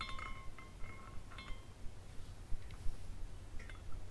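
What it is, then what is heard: Glass carousel figurine tinkling. A small glass carousel figurine spins while its hanging glass horses tinkle against one another. Light, bright chiming tones ring out in short clusters, strongest at the start and then scattered, over a steady low background rumble.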